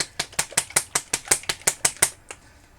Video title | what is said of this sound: Part 1 of how i airbrush a galaxy theme tumbler with craft paints | You want it to sound like milk sloshing around in there.